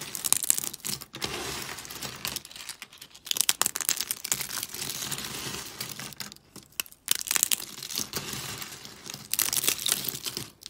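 Hands with long pink nails break and crunch thin, brittle, pastel dry soap flakes. Dense bursts of sharp, bright crackling and crinkling come in clusters, separated by short quiet gaps. There is almost no low-end body.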